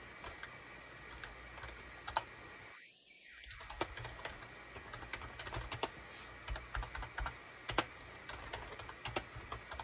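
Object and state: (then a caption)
Plastic computer keyboard. Fingertips of both hands type rapidly on a full-size gray, cream and orange SHIPADOO K600 wired USB plastic keyboard with a hollow plastic housing, resting on a desk mat. Quick, dry, bright clacks come in uneven bursts, with a brief quiet pause near the three-second mark before the typing picks up again.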